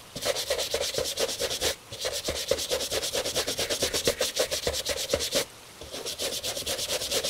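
A tan leather Italian dress shoe on a wooden shoe tree, held in a gloved hand, is scrubbed with a bristle brush to clean it. About 25 quick, bright, scratchy back-and-forth strokes come in steady bursts with a faint midrange tone, pausing briefly twice.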